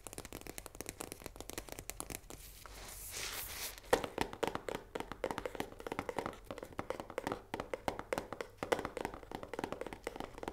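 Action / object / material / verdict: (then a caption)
tap / cardboard pasta box with plastic window / cardboard / none. Long nails tap rapidly on the face and plastic window of a full 500 g cardboard box of risoni pasta held in the hand, the box hollow with loose contents inside. Quick, dry, hollow clicks with a mid-pitched resonance come in fast bursts, broken around the three-second mark by a brief soft, bright rustle before the dense tapping resumes.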